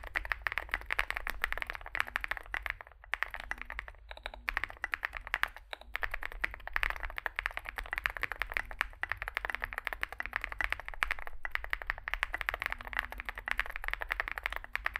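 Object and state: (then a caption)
Mechanical keyboard with metal case, typed on. Both hands type continuously with their fingertips on a compact 65% Zoom65 mechanical keyboard: an aluminium metal case, foam-filled, with lubed switches and SA plastic keycaps, resting on a desk mat. Rapid, dense keystrokes produce short, muted clacks that die away almost instantly, with a few brief pauses around the three- and four-second marks. A steady low hum runs underneath throughout.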